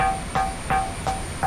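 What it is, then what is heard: Ringing lithophonic boulder (bell rock). A lithophonic bell rock at Manipara is struck with stones in a steady, evenly spaced series, each hit giving a short metallic ping with a tone near 860 Hz over a faint bright hiss. The ringing comes out a little low this time, though this rock rings wherever it is struck, unlike the other rocks nearby.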